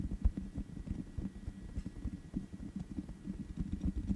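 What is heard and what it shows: Long nails tap on the black metal mesh grille of a large USB condenser microphone with a hollow head. The close, quiet taps land as soft, dull low thumps and patters, with almost no brightness and no ring after each one.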